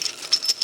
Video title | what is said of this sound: 🌿 Friday’s Finds - Outdoor Storage, Shade & Everyday Adventure Gear! | That sounds like metal. That's metal.